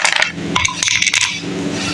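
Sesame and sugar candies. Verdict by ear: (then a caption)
Crisp. Freshly shaped sesame-and-sugar revdi candies, knocked or dropped together after cooling, give a rapid series of bright, hard clicks and clinks with almost no ring. The sharp, glassy rattle shows how crisp the candies turned out.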